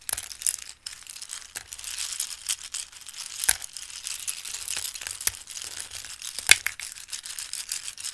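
Raw dried pasta shapes are lifted in cupped hands and poured back into a bowl of pasta. The pieces shuffle and patter in a dense, bright, crisp stream of small clicks, with a few louder sharp taps standing out. There is almost no low end.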